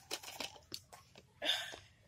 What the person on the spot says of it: you can hear it when I shake it